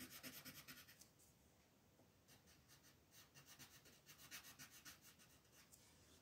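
A pink wooden colored pencil shades a flat white paper coloring page on a table, rubbing repeatedly in short strokes. Quick bursts of soft, bright, raspy scratching come in a fast, uneven rhythm, pause briefly after the first second, then resume for most of the rest of the clip.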